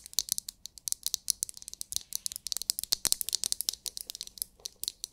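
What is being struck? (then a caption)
Plastic massage brush. Long nails rapidly tap and scratch the shell of a palm-sized, oval, glittery translucent plastic massage brush that may contain glitter. The result is a dense stream of crisp, bright clicks and scratches with almost no low end and no ring after each hit.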